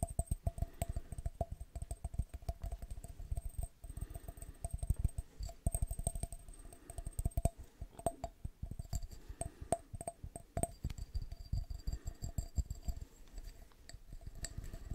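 A small, empty, clear glass jar with a threaded neck and no lid is held in one hand and tapped quickly with the fingertips and nails of the other. The taps come as a rapid, uneven stream of soft, dull knocks with a faint glassy ring near 700 Hz that dies away almost at once.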